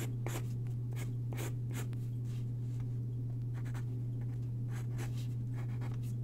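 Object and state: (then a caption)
Paper sheet. A graphite pencil sketches on a single white sheet of paper lying on a wooden desk, its tip scratching across the paper in quick, bright strokes. A steady low hum runs underneath throughout.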